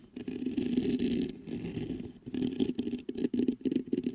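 Fingertips knock, tap and scratch the mesh grille of a black metal USB microphone. The result is a close, dense run of scratchy rubbing and quick muffled taps with a low hollow thump, with faint bright hiss over the top and a few short pauses between bursts.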